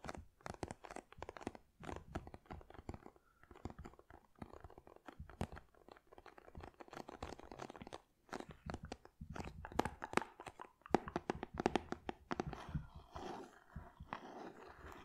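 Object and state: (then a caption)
Shrink-wrapped cardboard box. Long red nails tap and scratch a medium, flat cardboard box for an LED nail lamp, sealed in plastic shrink wrap and presumably full. Quick, dry, crunchy taps and crinkly scratches come in dense bursts with short pauses. The sound is mostly low- to mid-toned, and the last few seconds turn into a steadier, rustling scratch.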